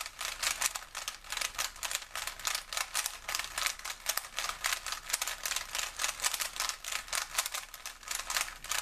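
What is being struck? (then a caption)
Plastic puzzle cube. A small, solid plastic 3x3 Rubik's cube with colored stickers is held in both hands and twisted by the fingers, making its layers click and rattle. Quick, bright, dry clicks come in dense, irregular bursts throughout the clip, with almost no low-end body.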